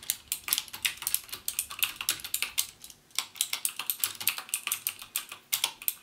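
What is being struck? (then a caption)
Plastic mechanical keyboard. Fingertips type on a backlit plastic mechanical keyboard with plastic keycaps and Cherry MX Blue switches, pressing the keys only halfway down. The result is a steady run of sharp, bright, clicky keystrokes with almost no low end and a brief pause around the three-second mark.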